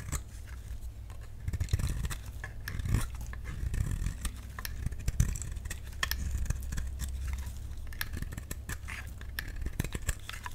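A solid, dry pink bar of soap held in the palm is shaved and cut with a utility knife blade. The cuts make a run of short, crisp scraping and snapping clicks over a steady low hum.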